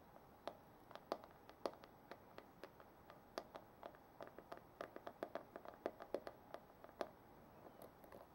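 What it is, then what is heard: Plastic paddle hairbrush. Long manicured nails tap and scratch the back and handle of a black plastic paddle hairbrush with a hollow body, held in hand. A quick, irregular series of short, dry clicks with a hollow mid-pitched tone, each dying away almost at once over a faint hiss, with soft scratchy rustles between taps.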